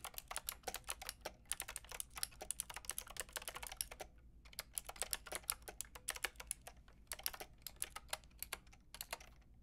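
Long red nails type and click on a Lofree mechanical keyboard with a plastic frame and round keycaps, ending with one hand. Rapid, bright plastic clicks and clacks come in quick runs, with brief pauses near 4 and 7 seconds, over a faint low hum.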